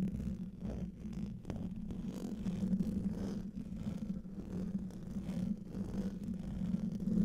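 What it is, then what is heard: Metal mesh microphone grille. Fingertips and nails scratch and tap the hollow domed metal mesh grille of a large silver condenser microphone. Close, muffled scraping and soft taps carry a steady low hum around 170 Hz, with little high-frequency content.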